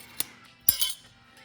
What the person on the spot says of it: just so you know it's metal imagine throw in the card down there at a restaurant and you get nothing but metal